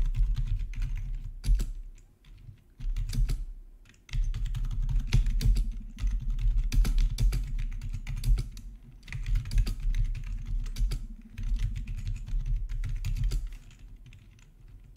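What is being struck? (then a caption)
Plastic membrane keyboard. Both hands type with their fingertips on the black plastic backlit keycaps of a plastic RGB membrane keyboard resting on a marble surface. Soft, low, thuddy keypresses come in quick, irregular bursts, with sharper bright clicks now and then. Short pauses break up the typing.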